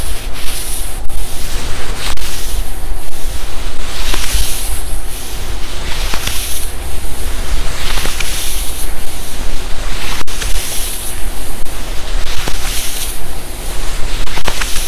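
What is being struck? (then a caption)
Quilted nylon puffer jacket sleeve. A palm rubs up and down the forearm of a black, padded, quilted nylon puffer jacket sleeve. The result is a steady run of swishing, scratchy strokes, each swelling into a bright, airy hiss over a constant low rumble.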